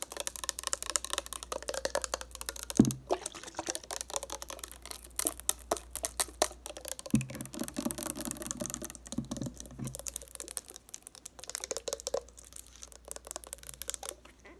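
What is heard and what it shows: Long nails rapidly tap and scratch a clear purple plastic Neutrogena eye makeup remover bottle that is partly full of liquid and has a metallic cap. The result is a dense stream of quick, bright clicks and scratchy rasps over a faint steady low hum.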